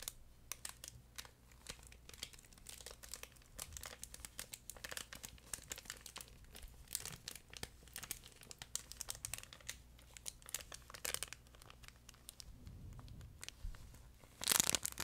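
A long yellow furry plush chicken pet toy, fabric with a crinkle film layer inside, is held stretched out in front of the microphone and crumpled and rubbed with the hands. Soft, dense, bright crinkling and crackling run throughout at a low level, with a louder burst of crinkling near the end.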